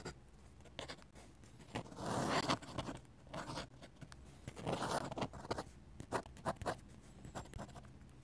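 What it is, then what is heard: Pen nib scratching on paper. A steel dip pen nib, held in the fingers, scratches curved ink lines across a flat paper sketchbook page. Quiet, dry scratching strokes come in an irregular rhythm, with two longer, brighter sweeping strokes standing out among many short, crisp scrapes and ticks of the nib.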